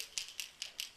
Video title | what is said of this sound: Southshore Anglers 201502 Eric Bachnik from Mirrolure | one with a single rattle made out of a propionate plastic with just a more subtle rattle